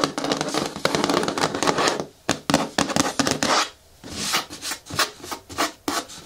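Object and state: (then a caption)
Plastic bin scratched with nails. Long nails scratch the front wall of a medium-hard, hollow green plastic bin with a lid. A dense, bright scraping rasp fills the first two seconds, then breaks into short, separate scratching strokes with brief quiet gaps between them.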